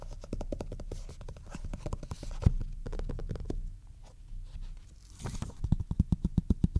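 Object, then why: Cloth-covered hardcover book. Fingertips and short nails scratch and tap across the front cover of a maroon cloth-covered hardcover book lying flat. Quick, irregular dull taps and soft scratching stay low and muffled with almost no ring. The clip ends in a run of sharper, evenly spaced taps.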